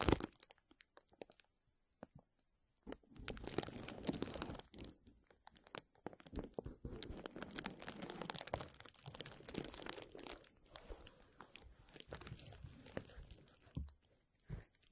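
Clear plastic bubble wrap is handled over a microphone, rubbed, then lifted and held up as a strip while fingers crinkle it. A few scattered soft clicks open the clip, then from about three seconds in a dense, continuous crinkling and crunching takes over, rising and falling in waves. It fades to sparser crackles near the end.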